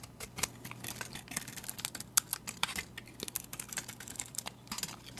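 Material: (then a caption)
Soap. A metal utility blade shaves large curls off a solid white soap bar with a painted face, held in the hand. A rapid series of short, crisp, bright scraping clicks follows, each dying away almost instantly over a faint low hum.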